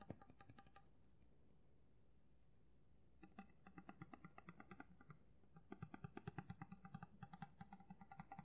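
Fingernails tap on the flat of a steel kitchen knife's solid blade, held horizontally, with a black handle. Quick, light metallic ticks with a short bright ring come in uneven bursts, broken by a quiet pause of about two seconds. The taps grow denser and slightly louder toward the end.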